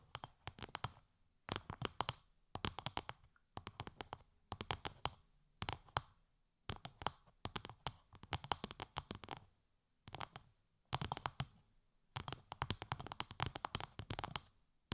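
Long light-grey nails tap a translucent, bubble-textured plastic sheet wrapped over the ears of a 3Dio binaural microphone. The result is repeated bursts of quick, crisp clicks with soft low thumps, each dying away almost instantly. Brief quiet pauses separate the bursts.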